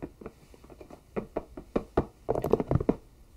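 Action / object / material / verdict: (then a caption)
tap / whole bell pepper / vegetable / none. A whole, fist-sized orange bell pepper, likely hollow inside, is held in both hands and knocked and tapped with fingertips and nails. Light, scattered taps at the start give way to clearer knocks and a quicker, denser cluster near the end. Each is a short, dry, hollow thunk with almost no ring.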